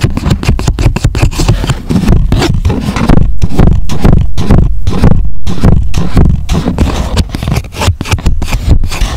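Fingertips rub and scratch a thin, flattened, unfolded grey chipboard box lying on foam, working along its creases. The result is a steady run of rapid, uneven scratching strokes with a dull, low-heavy rumble and very little high-end.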